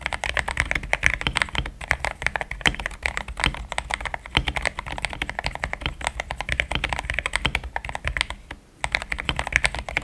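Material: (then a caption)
Plastic. Both hands type steadily on a compact pink-and-cream plastic mechanical keyboard with thick XDA-profile keycaps, Gateron Yellow switches and a polycarbonate plate, resting on a desk mat. Quick, short clacks with a bright, creamy click follow one another in a dense run, with a brief pause near the end.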